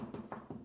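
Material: Stone.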